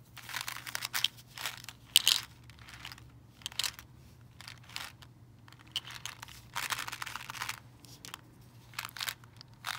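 A full, clear plastic candy-cane tube filled with candies is moved and shaken, making the candies rattle inside while fingernails tap the tube. Bursts of bright, crinkly rattling come and go over a faint steady low hum, with quiet gaps between them.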